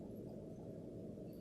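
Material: Nothing is struck.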